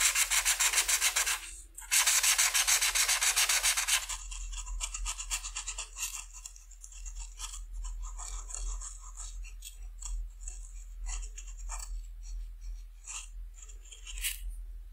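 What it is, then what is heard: Felt-tip marker coloring on paper. A green felt-tip marker held in the fingertips rubs in short scratchy strokes across a flat white paper coloring sheet on a table, filling in the spots on a butterfly's wings. Two loud, dense bursts of bright rasping open the clip, then it settles into a quieter, steady run of quick, high scratchy strokes.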